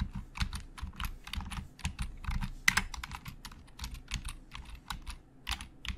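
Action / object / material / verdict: tap / plastic computer keyboard / plastic / none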